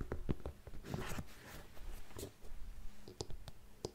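Long nails tap the block heel of an empty grey faux suede lace-up heeled ankle boot and scratch its upper. Short, dull, low-heavy clicks are interspersed with soft brushing scratches, and each tap dies away almost instantly.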